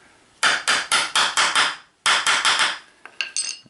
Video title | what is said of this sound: DT Swiss Campagnolo Freehub Body Bearing Change | you can hear the tone change when it hits the bottom it doesn't take a lot to put in